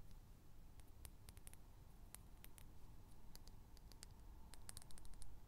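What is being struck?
Small glass perfume bottle with metal cap.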